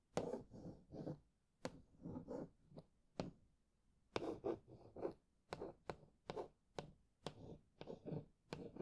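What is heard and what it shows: A long painted fingernail traces and taps along the printed text on the front of a printed cardboard Sony WH-1000XM4 retail box, lying flat and hollow with the headphones inside. About 17 soft, dry bursts of scratching and sharp tapping come in quick groups, with a papery mid-range scrape and almost no ring after each touch.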